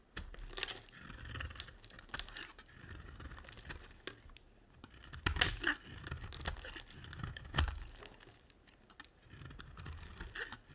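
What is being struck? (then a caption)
Bar of soap cut with a blade. A utility knife blade carves into a solid white rectangular bar of soap, producing a steady run of dry, crumbly scraping and crisp crunching shaves with soft low thumps underneath. The cuts come in short, bright bursts, with a few sharper, louder crunches near the middle and later in the clip, each dying away almost at once.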